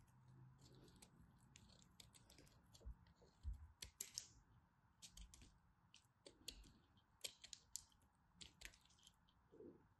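A craft knife blade shaves and carves a solid blue-and-white striped bar of soap held in the fingers, cutting off small chunks. Quiet, dry, crisp scrapes and sharp clicking cuts come in quick irregular bursts, each with a bright edge and almost no ring, over a soft low rumble.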